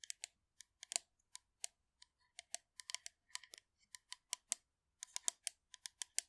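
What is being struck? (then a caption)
Metal aerosol shaving foam can. Long nails tap and scratch along the body of a hollow blue metal aerosol can of shaving foam held in both hands close to the mic. About 27 quick, quiet, bright clicks come in an irregular rhythm, each dying away almost instantly with no low end.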